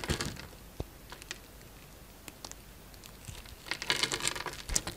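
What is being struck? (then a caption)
Bar of soap. A utility knife blade scrapes across a solid green bar of soap with a grid-scored surface, breaking off small cubes. Bright, crisp crumbling and crackling bursts open the clip, thin out to a few faint sparse ticks, then return as a denser run of crunchy scraping near the end.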